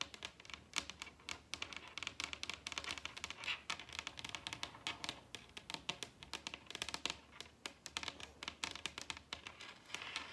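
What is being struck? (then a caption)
Wooden dining tabletop. Long red acrylic nails tap rapidly with both hands on the large, solid wooden tabletop of a dining table. The result is a quiet, dense flurry of bright, crisp clicks that stop almost instantly, with a faint low hum underneath.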